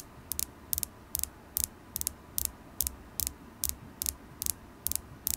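Long acrylic nails tap a solid polished carnelian crystal point held in the fingers. Thirteen evenly spaced double taps ring out as sharp, bright clicks with almost no ring, over a quiet low hum.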